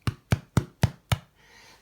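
A homemade bread loaf, golden brown and firm after 30–35 minutes of baking and just taken out of its tin, is tapped six times on the bottom. Each tap is a short, dull, low thud with no ring. The hollow sound shows the loaf is baked through and ready.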